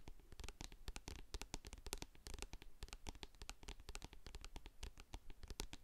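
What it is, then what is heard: Plastic jar tapped and scratched. Long blue acrylic nails tap and scratch the paper-labelled side of a medium-sized plastic jar of hair co-wash with a grey lid, which appears full of product. The result is a quiet, rapid run of dry clicks and scratchy rasps with a soft low thud behind each tap, every sound dying away almost at once.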